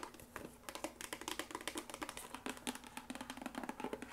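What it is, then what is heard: Hollow empty cardboard box. A small green and white printed cardboard box, hollow and apparently empty, is held and then set on a table while it is tapped and scratched with long acrylic nails. Quick, dry tapping clicks come in fast, uneven runs with soft scratching between them. The sound is light and papery with a faint hollow tone.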